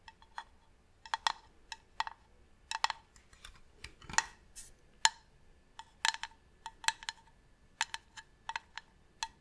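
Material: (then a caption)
Wood. Long nails tap on the side and top of a medium hollow varnished wooden box. It makes quiet, short, dry clicks with a hollow ring around 900 Hz and bright tops. The taps come in small uneven clusters and die away almost instantly.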